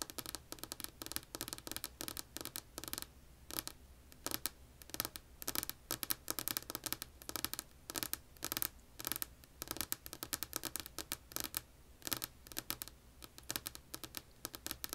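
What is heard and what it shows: Long polished nails scratch and tap a solid, flat tabletop of light wood grain. The result is a quiet, steady stream of crisp, dry clicks and scraping strokes, mostly bright and high with little low end. Each tap dies away almost instantly.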